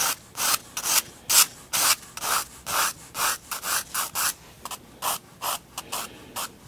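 A 4B pencil shades a spiral-bound paper sketchbook page resting on a wooden table, rubbing back and forth across the drawing paper. About sixteen short, dry, scratchy strokes come at a fairly steady pace of roughly two per second, each a bright hiss with almost no low end and quiet gaps between them.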